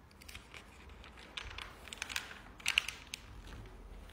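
A hand with short teal-painted nails rubs across and flips the pages of a large, open glossy paper product catalog lying flat. A quiet, bright, papery rustle runs throughout, with sharp crinkly swishes and snaps standing out in the middle of the clip. Each slick page flip dies away almost instantly.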